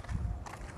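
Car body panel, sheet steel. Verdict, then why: Sound. A hand knocks twice on the sheet-steel body panel of a 2002 Hyundai Atoz GLS Automatic, a thin-bodied car, to check it. Each knock is a dull, low thud with a short ring. The panel sounds calm and normal.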